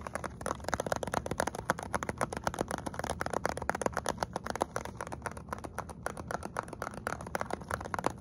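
Fingernails and fingertips tap quickly on a small printed cardboard box with a plastic window that holds a hot chocolate bomb, held close up. The result is a steady, rapid run of about 46 dry, crisp clicks and papery taps with no ring. The sound is brightest in the midrange, around 500 Hz to 1 kHz.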